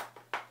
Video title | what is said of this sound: WE M14 Unboxing | It feels like wood, it sounds like wood, but it's not wood.